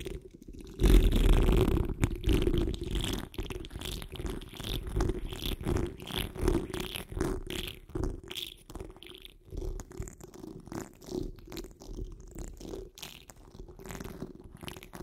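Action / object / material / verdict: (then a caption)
scrape / wire-mesh microphone grille / metal mesh / none. Long acrylic nails on both hands scratch fast across the top of a large, hollow, dome-shaped wire-mesh microphone grille. After a brief quiet start, it becomes a dense, rapid stream of rough, scratchy rubbing, heavy in deep muffled rumble with only faint bright edges. The scratching swells and eases in quick, uneven bursts throughout.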